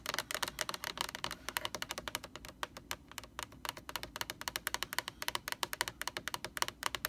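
Long nails tap rapidly on the sides and edges of a large white plastic Lysol laundry sanitizer jug held in both hands. The result is a quick, steady run of about fifty short, bright, clicky taps with almost no low end and no ring after each hit.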